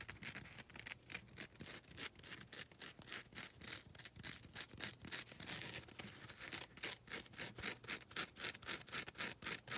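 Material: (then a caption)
Abrasive foam. Long red nails scratch back and forth across the abrasive face of a grey, gritty foam nail buffer block. It makes a quick, fairly steady series of dry, bright scraping strokes, each short and crisp, with little low end.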